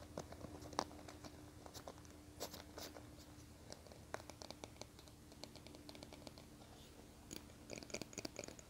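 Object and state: Plastic hairbrush.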